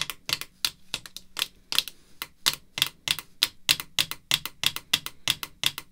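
Long red fingernails rapidly tap the back of a clear plastic graded card slab with a card inside, lying on black cloth. The result is a quick run of sharp, bright, dry clicks with almost no low end and no ring, briefly pausing near the two-second mark before resuming at a steady pace.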